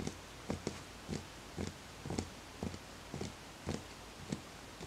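Fingertips tap the outer wall of a small, empty, hollow wooden bowl. The soft, low, hollow knocks come at an uneven pace of roughly two per second, some in quick pairs, and each dies away almost at once.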